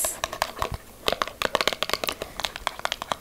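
Long acrylic nails rapidly tap a small hollow paperboard box with a yellow end and a passion fruit print, held just above a table. About twenty crisp, bright clicks and light scratchy rustles follow one another with almost no ring and little low end.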